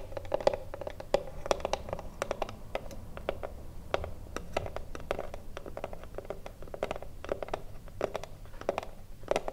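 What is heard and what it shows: Long blue nails tap and scratch a small, hollow, thin-wood Mini-Tip Filter cigar box standing upright. A rapid, irregular patter of short, dry, hollow knocks with a woody ring near 560 Hz dies away almost instantly, over a soft scratchy texture and low background rumble.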